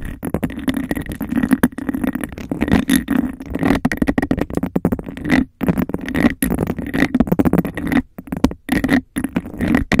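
Fingernails rapidly tap and scratch a clear, textured glass cup placed over a microphone. The result is a fast, dense stream of hollow, resonant clicks and scrapes with a steady low-mid tone and brief silent gaps.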